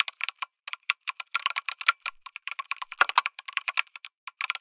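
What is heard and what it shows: Fingertips type on a lit mechanical keyboard with an aluminum case and plastic keycaps, producing about thirty quick, irregular keystrokes. Each press is a short, crisp, bright clack with no low-end thump and almost no ring.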